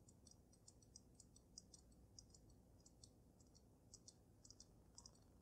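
Long nails tap rapidly on the sides of the glass dome of a water-filled dragon snow globe. Quiet, bright, sharp ticks sound in an uneven, clock-like patter, each dying away almost at once, over a steady low hum.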